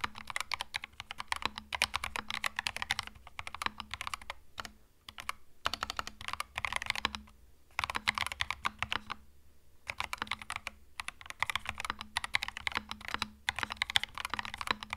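A compact cream mechanical keyboard with plastic keycaps, resting on a desk mat, is typed on steadily with the fingertips of both hands. Dense, bright, clacky keystrokes come in bursts with a few brief pauses. Each click is short and dry, with a faint low hum underneath.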